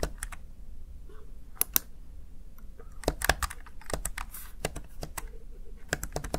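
Fingertips repeatedly tap and press the backlit plastic keys of a Razer Tartarus Chroma gaming keypad. The result is a string of short, dry, bright clicks at an uneven typing pace, with a low background hum beneath.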